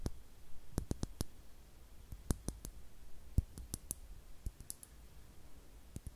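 Long nails tap a small, hollow, clear glass star-shaped bottle with a cork stopper, apparently empty. The taps are sharp, dry clicks in an irregular series, with bright tops, a low thud underneath, and almost no ring, over a quiet background.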